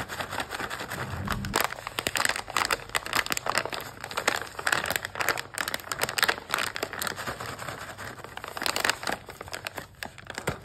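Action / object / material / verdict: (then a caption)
scrape / plastic foil snack pouch / plastic foil / none. Both hands squeeze and crinkle a medium yellow stand-up plastic foil pouch, full and closed, holding mini waffle cones, while long pink-tipped nails press and rub its surface. Dense, bright crackling and crinkling comes in rapid overlapping bursts with little low end, rising and falling in loudness throughout.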